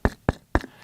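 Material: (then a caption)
Woody shell. Three knocks on a dried sapucaia seed pod, a Brazil-nut relative with a thick, hard shell like a coconut and as big as a bowling ball. Each knock is a short, dull, low thud that dies away almost at once.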